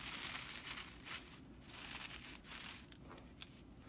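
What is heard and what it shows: Dry straw bristles of a whisk broom are squeezed and scratched with fingers and long nails. The result is a bright, dry rattling crackle in irregular bursts, loudest at the start and softer toward the end.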